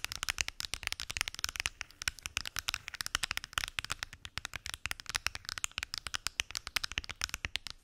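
Long acrylic nails tap rapidly across a large translucent purple plastic weekly pill organizer with many small hollow compartments and closed lids. Dozens of sharp, bright, dry clicks come in quick bursts, each stopping at once without ringing.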